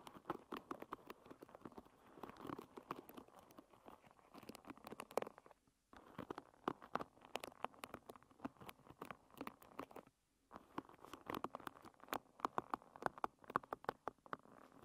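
Long red nails strum and scratch across the many wooden pins of a hairbrush lying bristles-up. The result is a quiet, dense patter of quick dry clicks and scratchy ticks, mostly in the mid range. Two brief pauses break the sound, one near six seconds and one near ten seconds.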